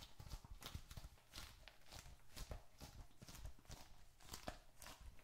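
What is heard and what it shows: A small, closed, dark red leather bifold wallet, hollow with bills and receipts inside, is held in both hands, tapped with fingertips and squeezed. Soft, dull, low thumps come in quick succession, mixed with brief bright creaks and crinkles from the leather.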